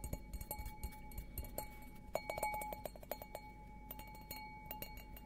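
An empty stemmed glass beer goblet, held upside down, is tapped repeatedly on its bowl with fingertips and nails. The taps are quick and clinking, each giving a short glassy ping around 600–800 Hz with faint high overtones. A steady low hum sits underneath.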